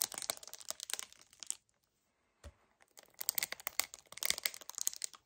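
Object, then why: Paperboard kefir carton. Both hands grip a hollow 1 L white paperboard kefir carton while fingernails tap fast on its front, producing dense, bright, crinkly clicks and crackles. The tapping stops briefly, a single dull low thump sounds, and the rapid crinkling taps resume.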